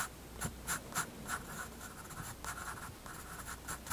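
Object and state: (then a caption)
Pencil on sketchbook paper. A graphite pencil makes eight short, irregularly spaced scratching strokes on a page of a spiral-bound white paper sketchbook resting on a wooden desk. Each stroke is a brief, dry rasp with a scratchy tone around 1.4 kHz and a bright, hissy top, set against a quiet, steady background.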